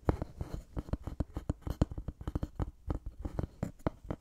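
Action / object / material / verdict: tap / thin wooden board / wood / none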